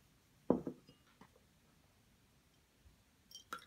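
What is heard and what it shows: A solid white plaster excavation block resting on tissue paper is scraped with a small wooden pick and rubbed with fingertips and nails while loose plaster crumbs fall around it. Quiet, dry scratches and soft taps come in short, separate bursts, with the strongest one early on. Brief bright clicks and a faint crumbly rustle follow near the end.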